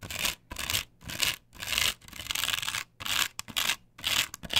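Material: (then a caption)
Plastic. Long nails scratch vigorously back and forth across the cutouts of a flat, perforated plastic stencil template glued to a wooden board. The result is a series of short, bright, dry rasping strokes, separated by brief silences, with one longer continuous scrape in the middle.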